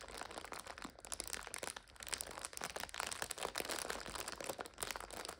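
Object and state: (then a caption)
Plastic instant noodle multipack being crinkled. Fingers grip and crinkle the plastic film of a full multipack of instant noodles lying on its side, while fingernails scratch across it. A dense, continuous run of bright, crackling plastic crinkles plays throughout, with quick sharp snaps and little low end.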